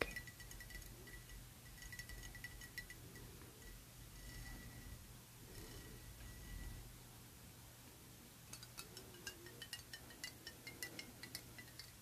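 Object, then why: Ribbed glass perfume bottle with metal cap. Long painted nails tap and scratch a round, ribbed Lalique Satine glass perfume bottle with a metal cap, partly filled with liquid, first while it lies on a fluffy surface and then while it is held upright. The first half is a soft, continuous scratching with faint bright clinks. The second half turns into quick, sharp glassy taps over a steady low hum.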